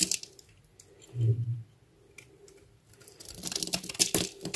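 A hand-sized solid blue bar of soap, held in one hand, is carved with a metal utility knife blade that shaves and scrapes dry soap flakes onto a white board. Crisp, bright scraping and crackling comes in short bursts, with a brief low thump near the start. The shaving grows denser and busier toward the end.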